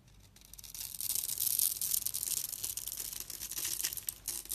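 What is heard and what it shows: A palm-sized solid pink bar of soap, held in the hand and scored in a grid, is shaved with a metal utility knife blade. Dense, bright scraping and cutting sounds swell up from near silence and continue steadily, mixed with the crisp crumble of soap bits breaking away.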